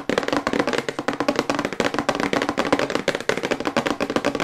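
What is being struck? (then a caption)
Glossy printed cardboard box tapped with fingernails. Long white acrylic nails tap quickly on the back of a glossy printed cardboard toothbrush box held upright in both hands. About 26 short, dry, hollow clicks run in a fast, steady stream, each dying away almost at once. The taps have a mid-pitched papery knock with little low end.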